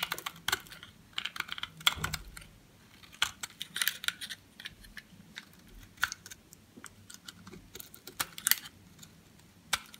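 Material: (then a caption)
Soap. A box-cutter blade carves thin shavings off the edge of a solid green bar of soap held in the hand. The scraping cuts come as irregular bursts of crisp, bright, clicky scratches with very little low end. Each cut stops dead, with quiet pauses between.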